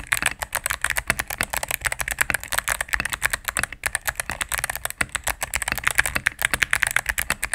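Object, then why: Mechanical keyboard with plastic keycaps. Fingertips and medium-length nails type rapidly on a solid, cream full-size mechanical keyboard with plastic keycaps on a plastic case. A steady stream of crisp, bright, clacky key presses follows, each click short and dry with almost no low end. Brief dips in the typing come near the four- and five-second marks.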